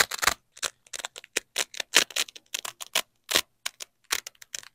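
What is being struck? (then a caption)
Nylon hook-and-loop fastener. Black-gloved fingers peel a yellow nylon hook strip and a black nylon loop strip of hook-and-loop fastener apart and press them back together. Bursts of bright, crunchy ripping crackle come in quick, uneven spurts separated by short silences, with almost no low end and no ring after each rip.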